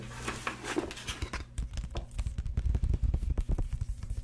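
A grey hardcover book is held in both hands above a table while its paper pages are fanned and rubbed with fingertips and nails. A brighter papery rubbing and scratching hiss fills the first second and a half, then gives way to a rapid run of short, dull, low-pitched taps and brushes.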